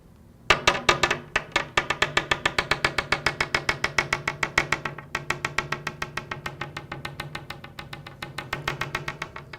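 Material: Kevlar composite.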